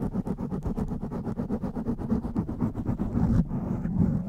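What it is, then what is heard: Foam microphone windscreen being scratched. Long nails scratch a blue foam windscreen over a microphone, one hand on the side and the other on the top. The result is a rapid, uneven run of close, muffled scratching strokes, heavy in low rustle with a bright hiss on each stroke that thins out near the end.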